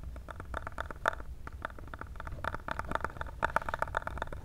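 Fingernails tap rapidly on a small, hollow, black printed cardboard cable box held in the hands close to the mic. The result is a steady stream of quick, dry, hollow clicks with a boxy mid-range resonance. A soft low rumble runs underneath, and a few taps land noticeably harder than the rest.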